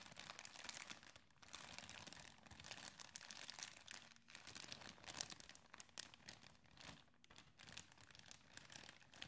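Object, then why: Thin plastic zip bag. A thin, clear, empty plastic bag with a zip seal is crumpled and crinkled between fingers with red-painted medium-length nails. It makes a steady run of bright, dense crackles and crunches with short pauses, mostly high in tone with little low end.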